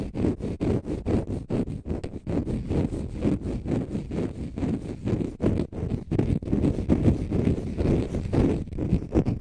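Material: Konjac fibre.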